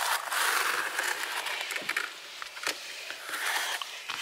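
Fingertips and nails rub and scratch across a large, flat, solid black rubber floor mat with a raised diamond-plate pattern. The result is a steady, bright, hissy scraping with faint crackles and a few sharper ticks.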